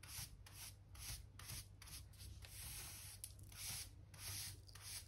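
A soft-bristle hand brush held in the fingers sweeps along solid pale pine floorboards by the skirting, brushing small specks of dirt and dust from between the planks. Repeated bright, scratchy swishes rise and fall with each stroke over a steady low hum.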